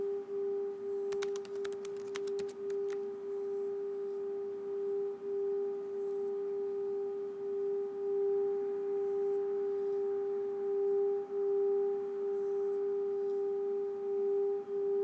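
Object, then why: Small brass singing bowl rubbed with a wooden mallet. A wooden mallet is rubbed along the rim of a small, hollow, empty brass singing bowl resting on a flat palm. It draws out a steady, sustained ring pitched around 406 Hz, with fainter overtones near 800 Hz and 1.2 kHz. A few brief bright clicks sound early on, while the tone holds with a gently wavering loudness throughout.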